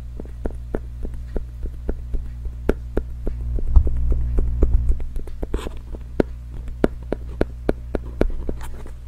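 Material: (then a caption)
Cardboard. Long fingernails tap and scratch a small, hollow, pink printed cardboard packaging box held in one hand next to the microphone, producing about 29 short, dry, irregularly spaced clicks. A steady low hum sits underneath throughout and swells briefly in the middle of the clip.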